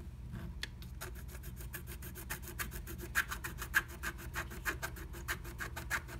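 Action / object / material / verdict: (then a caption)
scrape / wax-coated scratch art paper scratched with a wooden stylus / coated paper / none. A wooden stylus scratches the coating of a flat black-coated scratch art sheet inside the butterfly cutout of a blue stencil. Quick, steady back-and-forth strokes make dry, bright rasping scratches, with a few sharper peaks. A faint low hum runs underneath.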